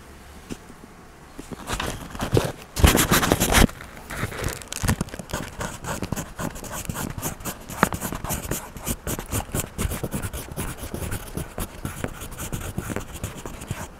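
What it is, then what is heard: Wax crayon rubbing on a paper page. A yellow wax crayon is rubbed back and forth across the page of an open paper coloring book, coloring a cartoon mouse's shoes, with a clip-on microphone resting untouched on the page. Close, dense scratchy strokes run throughout, and the loudest, brightest scraping comes in the first few seconds before settling into a steadier rhythm.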